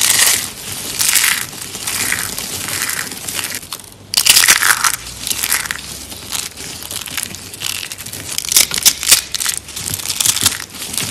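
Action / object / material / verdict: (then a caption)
scrape / dry soap curls and flakes / soap / none. Long-nailed fingertips squeeze and crush handfuls of dry, brittle green and white soap curls and flakes from a crushed soap rose. Dense, bright crunching and crackling comes in uneven bursts, with louder surges around four seconds and again near nine seconds. There is almost no low-end body.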